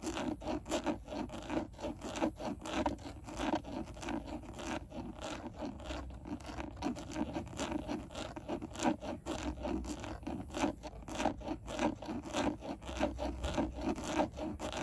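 Long nails scratch and tap on a rigid, textured black plastic steering wheel airbag cover. The result is a dense run of quick, dry scratches and clicks, with a low-mid body and short bright ticks over a faint low rumble.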